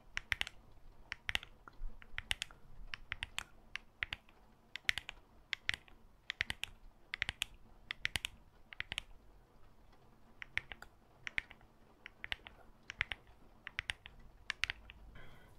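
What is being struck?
Glass and metal smartphone.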